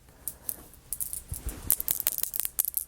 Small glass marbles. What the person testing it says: they got that glass sound to them okay they're real marbles